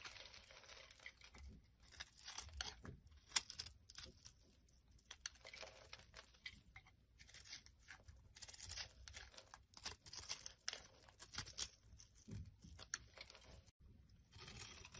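A utility knife blade scrapes and cuts across the scored surface of a hand-sized solid blue bar of soap held in the palm, and small cubes crumble off onto the table. The sound is a quiet run of bright, crisp scraping, tearing and crunching bursts with a brief pause near the end.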